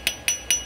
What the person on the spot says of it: you can hear the difference between that steel